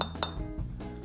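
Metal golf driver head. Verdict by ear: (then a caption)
Crisp. A metal golf driver head is tapped twice, giving two bright, crisp metallic clinks with a short, lively ring rather than a dull thud. Low background rumble runs underneath. The driver head sounds crisp and lively.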